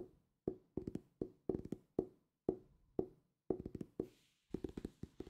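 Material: Cardboard.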